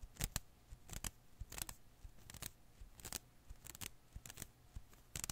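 A hand-sized blue and green rubber-filament Koosh ball is held in one hand while the fingertips of the other hand pluck and scratch its strands. The result is sharp, bright snapping clicks, mostly in quick pairs, repeating about every half second to second over a low, quiet background hum.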